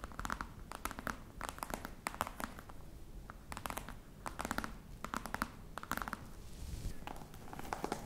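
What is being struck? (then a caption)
Box covered in embossed faux leather. Long nails scratch the textured front of a flat, hollow black box covered in embossed faux-crocodile leather. Quick scratchy bursts with short, dry crackles come in clusters over a low rumble.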